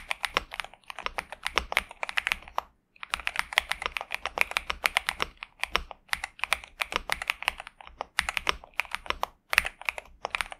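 A pink and purple Xinmeng M71 65% mechanical keyboard with TTC Superman switches and plastic keycaps, resting on a desk mat, is typed on continuously with the fingertips of both hands. Quick, bright, dry clacks come in rapid runs with short pauses between bursts. Each keystroke dies away almost instantly, with almost no low end.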